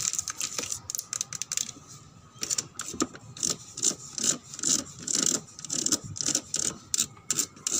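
A car body is tapped and scratched with rapid, irregular bursts of sharp, dry clicks that sound like typing. Each click dies away almost instantly, and the sound is mostly bright high-frequency hiss with very little low end.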